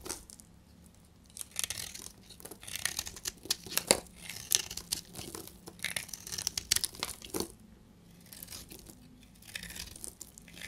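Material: Soap.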